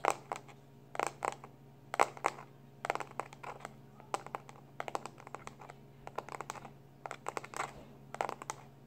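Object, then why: Plastic external hard drive casing. A small black plastic external hard drive is held in both hands while fingertips and short nails quickly tap and scratch its labeled back. Dense clusters of sharp, bright clicks and scratchy ticks come in rapid bursts over a faint steady low hum.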